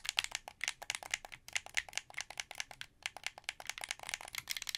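Fingertips click the buttons and triggers of a translucent blue, hollow plastic wired Xbox 360 controller in a rapid, uneven series of sharp clicks. The clicks are bright and dry, with almost no low end, and each one stops instantly with no ring.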